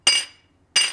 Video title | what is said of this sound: STIHL BR 600 / 700 LEAKING ENGINE PAN REPAIR / DIY | it'll have a nice little ring to it and that's a good quick way to check these for cracks